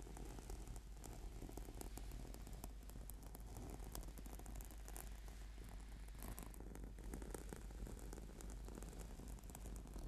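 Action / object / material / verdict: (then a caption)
scrape / foam yoga mat / foam / none. Fingertips and nails scratch and tap across a flat purple sticky yoga mat made of PVC/foam. The result is a steady, dense stream of soft, quick scratches and taps that blur together, heavy in the low end and muted at the top.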